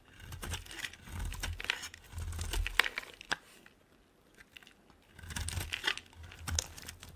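A metal blade scrapes a solid, dry pink bar of soap, carving off long curls. The result is a series of dry, crackling, crinkly scraping passes with bright, brittle detail and a soft low rumble underneath. A quiet pause falls in the middle before the scraping resumes.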